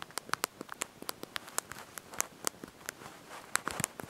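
Thumbs and fingertips press and tap the small backlit plastic keys of a handheld slide-out mobile phone's QWERTY keyboard while typing a message. About twenty quick, dry, bright clicks come in an irregular patter, each stopping instantly with almost no low end, over a faint hiss.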